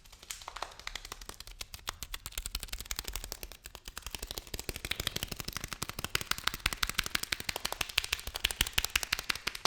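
A package of lentils is tapped and handled with rapid, crisp fingertip taps that click brightly with almost no ring. The taps start softer and grow louder and more insistent after the first few seconds, continuing in a steady rattling stream to the end.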